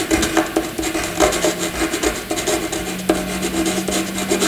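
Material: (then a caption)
Graphite, paper. A graphite pencil scratches loops and squiggles across a flat white sheet of paper. It makes a continuous dry, raspy scratching with bright hiss and uneven bursts as the strokes change direction, over a faint low steady tone.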